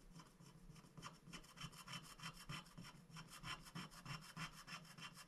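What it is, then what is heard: Scratch-art paper being scratched. A wooden stick scratches the black coating off a thin, flat paper scratch-art sticker sheet lying on a glass board while a hand holds the sheet. About eighteen quick, short strokes come in a steady, slightly uneven rhythm, each a dry, bright rasp over a faint low buzz. The strokes are quiet and close, with almost no ring after each one.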